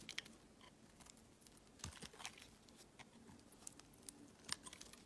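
A utility knife blade scrapes the surface of an oval, green, translucent glycerin soap bar that has been thinned by carving. Quiet, crisp crackling scrapes and sharp ticks sound over a soft background hiss, with their energy mostly bright and high. Each tick stops dead, with no ring after it.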